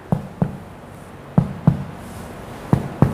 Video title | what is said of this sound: Skills Lab - Pemeriksaan Abdomen Fisiologis | semua titik 13 titik tersebut yang sudah kita ketuk semuanya ee bunyinya adalah timpani